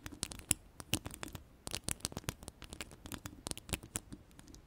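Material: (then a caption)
Metal mesh. Long purple-yellow ombre acrylic nails scratch and tap across a hollow woven metal mesh microphone grille. The result is a quick, irregular run of dry, bright clicks and scratchy rasps, each stopping at once with no ring, over a soft low rumble.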